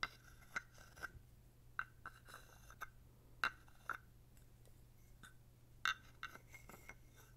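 A wooden stick is scraped along the ridges of a small, dark, solid carved wooden toad held in the hand, while fingers also handle it. Short, sharp woody clicks and brief raspy scrapes sound with an irregular rhythm, each ringing around 1.4 kHz with bright overtones, against a faint low hum.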